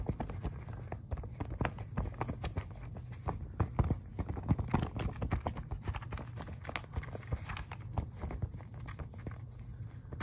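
Several fingertips tap and scratch quickly on the glossy paper pages of an open magazine spread showing a "Kingdom of David and Solomon" ad page. A dense, rapid stream of short, dull taps with a low thud-heavy body and faint scratchy texture continues steadily with no pauses.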